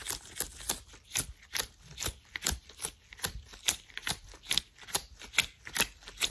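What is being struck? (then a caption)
Thin latex gloves on hands. Hands in worn, thin white latex gloves are rubbed and flicked quickly against each other close to the mic. About 19 quick, bright snapping and rustling strokes come in a loose rhythm, each dying away almost at once, with little low end.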